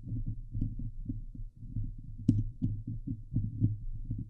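Long glitter nails on both hands scratch the hollow steel mesh grille of a Blue Yeti microphone, producing a dense run of low, boomy thumps and rubbing scrapes, deep and muffled. A sharper, brighter scratch cuts through near the middle, and another sharp one comes at the very end.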